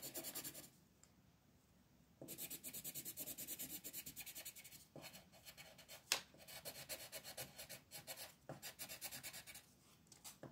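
A multicolor striped wooden pencil rubs and scratches yellow coloring onto a flat printed paper sheet on a desk, while the other hand with red nails holds the sheet. Rapid, bright, scratchy back-and-forth strokes come in bursts, with a quiet pause early on, a short break near the end and one sharp tap around the middle.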